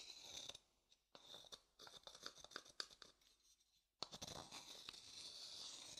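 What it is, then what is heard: Light wooden bowl. A thin wooden stick scrapes the inside of an empty, pale, hollow wooden bowl held close to the mic. The sound is a dry, bright, scratchy rasp in short bursts with very little low end. There is a brief quiet gap before the scraping resumes more steadily.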